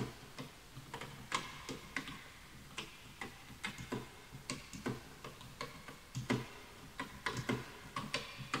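Fingertips type continuously on a full-size bamboo wood computer keyboard with wooden keys, while the mouse is left untouched. The result is an irregular stream of short, dry clacks, each with a bright tick over a soft low knock, fading quickly into a quiet background.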